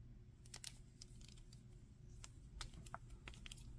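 Fingers tap the feet, face and arms of a solid, hand-sized grey-green plastic monster action figure and move its limbs. Sharp, bright joint clicks and light taps come through over a steady low hum. Each click dies away almost instantly.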